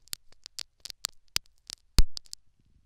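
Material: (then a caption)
Silicone, foam. A metal syringe needle pokes and scratches the foam plug inside a silicone dummy ear fitted with a microphone. Sharp, bright ticks and short crackly scrapes come in an uneven patter. A louder, deeper thump near the end fades into a soft rustle.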